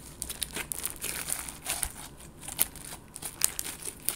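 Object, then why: Clear slime with confetti sequins. A palm-sized clear slime packed with colorful confetti sequins, soft and solid, is squeezed and kneaded with fingertips and long gold nails. It gives bright, crinkly crackling with quick, sharp clicks and pops scattered through a steady high hiss.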